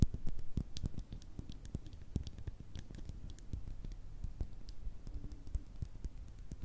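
Long red nails tap and scratch the sides and black top of a small, hollow, clear glass bottle. Rapid, quiet, short clicks mix with scratchy rustling, mostly low and thuddy with brief bright ticks that die away almost at once.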